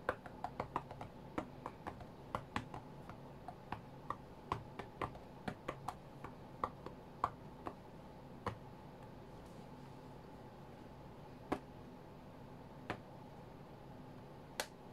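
Sharp fingertip and nail taps land on the glass touchscreen of a white iPad lying flat on a mat. A quick, irregular run of dry, clicky taps fills the first eight seconds, then only a few scattered taps follow. Each tap dies away almost instantly over a faint steady low background hum.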